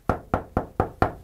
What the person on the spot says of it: That sounds like a regular wood door. Exact wood door.